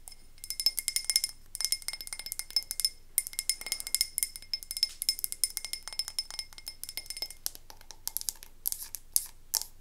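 A medium frosted glass candle tumbler filled with wax is held in one hand and tapped with the fingernails of the other. The result is fast, clear glass clinks with a bright, high ring that dies away almost instantly. The bursts of taps run dense through the whole clip, with a few brief pauses.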